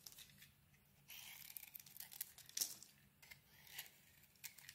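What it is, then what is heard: Bar soap being carved. A utility knife blade carves and peels the coating from a solid lilac bar of soap with a white interior. Quiet, bright, crisp scraping and crinkly peeling sounds come in short bursts, with a longer continuous scrape near the start and a sharper crack midway through.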